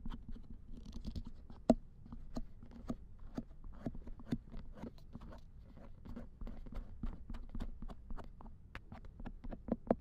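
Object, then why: Silicone ear of a binaural dummy head microphone. The silicone ear of a binaural dummy head microphone lying in a lap is scraped with a thin wooden or bamboo ear pick and touched with fingertips. Close, quiet scratching and soft patting come as a steady run of short, dry strokes over a low rumble. A few sharper taps stand out, and the sound stays dry with almost no ring.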